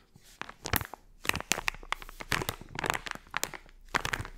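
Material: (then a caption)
Plastic foil. A small, colorful, crinkly plastic foil blind-bag toy pouch filled with a soft toy is held in both hands while long-nailed fingertips squeeze and scratch the film. Sharp, bright crinkles and crackles come in uneven bursts over a quiet background, with brief dry snaps that stop almost instantly.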